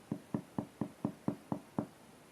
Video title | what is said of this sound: Four en terre crue première cuisson pain et gâteau | Si vous entendez que ça sonne creux, c'est que votre pain, eh ben, il est cuit.